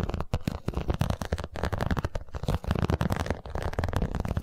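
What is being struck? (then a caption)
Vinyl cosmetic pouch. A holographic, iridescent vinyl cosmetic pouch is held close to the microphone and scratched and tapped with long nails. It makes a rapid, continuous run of crinkly scratches and short dull taps with a heavy low-end thump. Each tap dies away almost at once.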